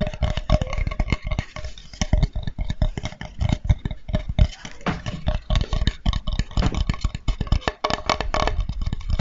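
A flat, light, solid wooden cutting board with a handle is held close in front of the microphone and tapped and scratched with fingertips and nails. The result is a rapid, irregular stream of short, dull, bassy knocks mixed with dry scratching rasps.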